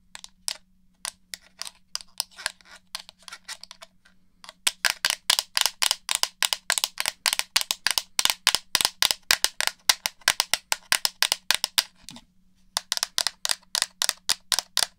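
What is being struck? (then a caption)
Plastic game controller shell and buttons. Long nails tap the shell of a hollow black plastic PS4 DualShock controller and click its buttons, making sharp, bright clicks that die away almost at once. About 59 taps are heard: sparse and quieter for the first four seconds, then a fast steady run of louder clicks with a short pause near twelve seconds before they resume.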